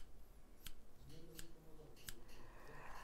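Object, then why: Steel hairdressing scissors. A medium pair of stainless steel hairdressing scissors with solid metal blades and ring handles is held up in both gloved hands and opened and closed, so the blades slide and click against each other; a second pair lies untouched on the table. Quiet, crisp, bright metallic clicks with very short ring stand out over a low, rumbling background.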